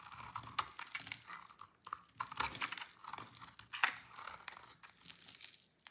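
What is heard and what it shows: A utility knife cuts a solid, red-orange, translucent oval bar of dry soap held in the hand into shreds. The sound is a quiet, continuous run of dry, crisp scraping and crunching with a bright, crinkly texture, broken by a few sharper snaps as the shreds come away. The scraping stays almost entirely bright, with next to no low end.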